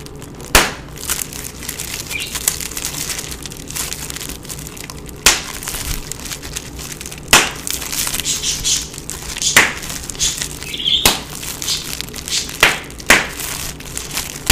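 A clear plastic bubble wrap sheet is held close up while fingertips and thumbs pinch and pop its air-filled bubbles one by one. Sharp, bright pops stand out at irregular intervals over a steady bed of crinkling plastic. Each pop dies away almost instantly.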